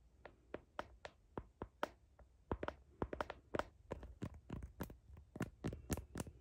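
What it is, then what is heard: Plastic phone case tapped with fingernails. Fingernails tap and click on a phone's blue heart-patterned plastic case near the camera, producing an irregular series of quick, dry clicks. Each tap is short and crisp with almost no ring, carrying a low thump under a light plastic tick.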